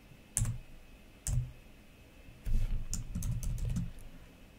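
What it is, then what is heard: Plastic laptop keyboard. Fingertips with long nails slowly press and click individual plastic keys on a black laptop keyboard. Two isolated taps are followed by a quicker run of presses, each a dull, low thump with a short, bright click on top. The keys stop quickly, leaving a quiet background hum.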